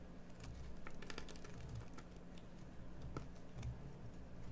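A metal carving tool shaves a solid green bar of soap, producing quiet, crisp scraping and light ticking clicks. A steady low hum sits underneath throughout.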